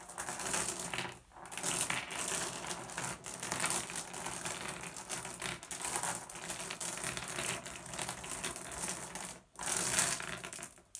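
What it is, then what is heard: Glass gem pebbles. Both hands spread and rub over a pile of small, solid blue glass gem pebbles resting on wood. A steady, bright rattle of clinking and clicking gem-on-gem contacts is heard, with brief pauses near 1.3 and 9.5 seconds.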